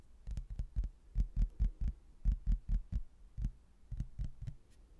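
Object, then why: Laminated hardboard placemat with cork backing. A thin, solid cork-backed laminated hardboard placemat with a manor house print is held in both hands and tapped sparsely with the fingertips on its glossy surface. Eighteen soft, dull, low thuds come in an uneven rhythm, each dying away almost at once, with faint bright clicks at the tap onsets.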